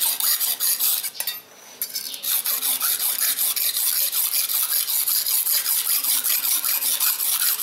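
A steel knife blade is held at an angle and scraped along a dark grey solid abrasive whetstone with fingertip pressure to sharpen it. The result is a steady series of bright, hissing rasping strokes, about two and a half per second, with a brief quieter pause early on.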